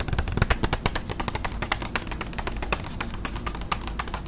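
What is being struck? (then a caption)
Paper envelope. Long acrylic nails tap rapidly on a flat, thin white paper envelope held up close. The result is a fast, dense run of crisp, papery clicks with bright, sharp attacks that die away almost instantly, over a steady low rumble.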